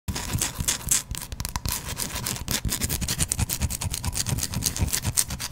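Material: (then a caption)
Soap. A hand-sized solid white bar of soap, held in one hand right next to a microphone, is scratched with the fingernails of the other hand. The result is a steady run of quick, dry scratching strokes with a bright hiss and soft low thumps, each stroke dying away almost instantly.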